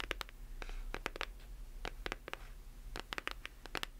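Long acrylic nails tap and scratch the cover and spine of a solid hardcover book with a glossy paper dust jacket. A rapid series of sharp, dry clicks mixes with brief scratching strokes over a faint, steady low hum.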